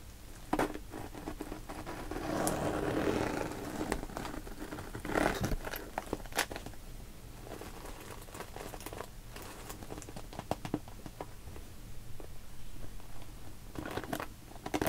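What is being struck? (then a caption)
Soft PVC zipper pouch with soft contents. Long painted nails tap and scratch the top and purple zipper of a small, clear, translucent pink vinyl (PVC) cosmetic pouch that is hollow with soft contents, and squeeze its sides. The result is a crinkly sound of irregular sharp taps and clicks, with a few swells of louder crumpling from the squeezes.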